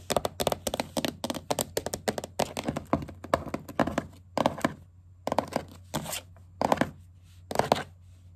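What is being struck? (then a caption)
Wooden tabletop tapped with plastic fingertip caps. Fingers wearing green plastic witch-finger caps with pointed tips scurry and tap across a solid wooden tabletop. Rapid bursts of sharp, bright clicking taps come in quick clusters, separated by short pauses, over a faint steady low hum. Each tap dies away almost instantly.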